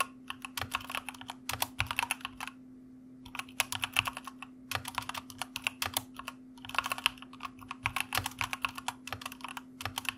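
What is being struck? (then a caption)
Plastic mechanical keyboard. Fingertips type steadily on the plastic keycaps of a white plastic mechanical keyboard, making bursts of sharp, bright clicks that die away almost instantly. The typing runs in quick flurries with brief pauses, including a longer gap near the three-second mark, over a faint steady low hum.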